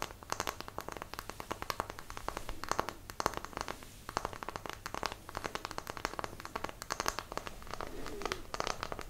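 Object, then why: Small wooden block. A small, solid, light-coloured square wooden block is held up close with both hands while long nails tap and scratch across its faces and edges. The result is a steady run of quick, dry, clicky taps with bright, crackly scratching in between. There is almost no ring after each tap.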